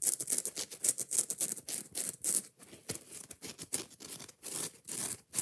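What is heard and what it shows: Long nails quickly and roughly scratch and tap a yellow foam kitchen sponge with a green abrasive scouring pad held in the hand, working over both the rough green pad and the foam. The result is a fast, uneven run of short, dry, bright scratching bursts with a hissy high edge and almost no low end.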